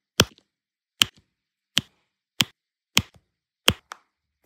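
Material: Resin.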